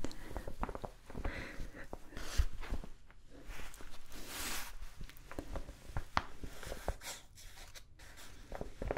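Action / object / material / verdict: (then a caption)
scrape / kraft paper mailer bag / paper / none. A large brown kraft paper mailer envelope with a sticker is held up and scratched and tapped with long nails. Quick, dull taps and soft papery crinkles repeat throughout, with occasional brighter rustling swells over a quiet, low background.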